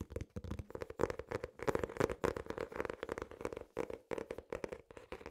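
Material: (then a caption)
Cardboard. An ornate hardcover notebook with an elastic strap has its cover tapped and scratched with nails and fingertips. Quick, closely spaced dry taps with a hollow tone around 465 Hz mix with scratchy brushing over the cover. The sound is soft and crisp, and each tap dies away almost instantly.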